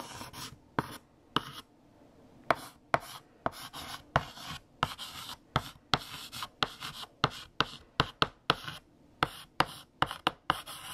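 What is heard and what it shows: A hand writes letters with a stick of pink chalk on a large, flat black chalkboard. The chalk makes bright, dry scratching strokes broken by about 22 sharp, short taps across the surface, with brief quiet pauses between bursts.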